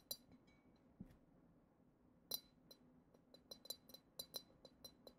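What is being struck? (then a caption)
Glass goblet. A long acrylic nail taps the side of the bowl of a hollow, clear, glitter-decorated glass goblet. About twelve quiet, bright clinks sound, some spaced apart and others in a quicker cluster near the end. Each has a high, glassy ping that dies away almost at once over a faint background hiss.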